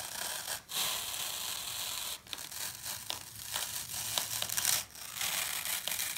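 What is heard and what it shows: A solid block of green phenolic floral foam with scooped-out holes is held in one hand and sawed with a serrated knife, its crumbly texture giving a bright, dry, crunchy rasping with almost no low end. The sawing runs in sustained strokes broken by brief pauses, and at the end a piece is torn off by hand.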